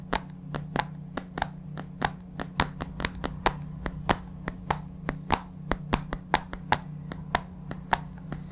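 A large white plastic supplement tub, lidded and held on its side in the palm, is tapped with the fingertips about 31 times in an uneven rhythm. Each tap gives a short, hollow, dry knock that dies away almost at once, over a low steady hum.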